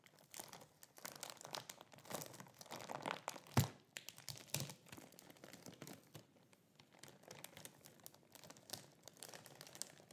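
A flat, soft leggings package sealed in a thin clear plastic bag with a cardboard label and barcode lies on a grey cloth surface, with unused scissors at the edge, while fingertips of both hands press and rub the plastic film. The result is a steady run of quiet, dry crinkles and crackles, with one sharper, louder crunch a little past the midpoint.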